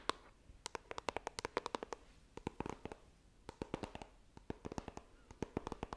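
Long nails tap and scratch the printed lid of a small, hollow white iPhone retail box made of coated cardboard, held horizontally. Dozens of quick, dry, hollow clicks sound in irregular bursts, each with a faint scratchy edge and almost no ring, over a quiet background.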